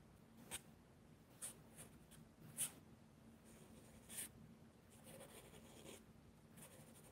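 A charcoal pencil makes short, scratching shading strokes on the page of a spiral-bound mixed media paper sketchbook lying flat on a table. Quiet, bright, dry scratches stand out above a low, steady background hum, and a softer, longer rubbing stretch follows near the end.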